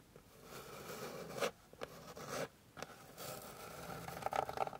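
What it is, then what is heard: Wooden board being scratched. Long pink nails scratch and rub across a flat, solid, light wooden board, making dry, papery scraping strokes. Several rasping passes stand out, separated by brief quiet gaps, ending in a busier stretch of quick rubbing with a slight tonal edge.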